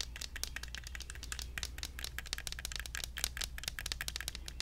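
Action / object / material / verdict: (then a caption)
tap / small plastic toy cactus in a plastic pot / plastic / none. A small, hollow plastic toy cactus in an orange plastic pot is tapped rapidly with fingertips and nails, held close. Quick, dry, clicky taps with bright, crisp tops come in a steady stream over a low, constant hum.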